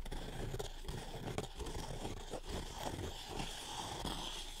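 Long red-painted nails scratch and rub along the black-dyed straw bristles of a small decorative witch's broom held up close in both hands. The result is a steady, dry, crackly rustle of straw, with brief scratchy bursts and a faint high hiss running throughout.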